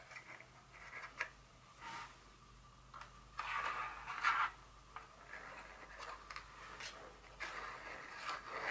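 Very long fingernails tap and scrape a small, hollow, white folded cardboard insert from a Dior perfume box. The result is a quiet, irregular series of light, crisp clicks and scratchy brushing sounds with a dry, bright ring around 1.3 kHz.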